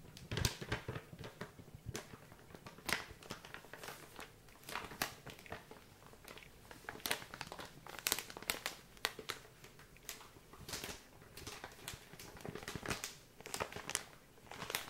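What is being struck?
Soft plastic wet-wipes pouch.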